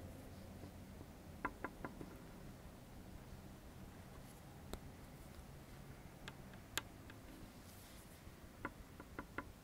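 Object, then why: Plastic comb. A dark, solid plastic comb with fine teeth is held and pressed on a wooden table while its teeth are strummed and flicked with the fingertips. Short, dry, bright clicks ring out in small clusters and single flicks over a quiet low hum, each dying away almost instantly.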